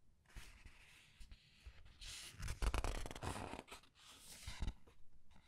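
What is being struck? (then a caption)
Printed paper pages of a large paperback book. Fingertips with long red nails lift and flip the printed paper pages of a large open paperback art book resting on a table. Soft, dry rustles and crisp papery swishes rise and fall irregularly, with brighter crinkling bursts and light low thumps as each page settles.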